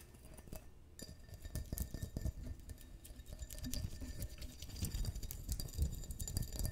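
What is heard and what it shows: A clear, hollow, empty stemmed wine glass is held in the hands and tapped and scratched with long fingernails on the bowl and stem. The result is a rapid run of quick, dry clicks and scraping ticks with very short ring, mostly low and dull, with faint bright glassy glints.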